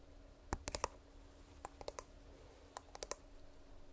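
A small hollow purple plastic earbuds charging case is tapped with fingernails, possibly with its lid opened and snapped shut. About thirteen sharp, dry clicks come in quick clusters, with bright plastic ticks and a faint steady hum underneath.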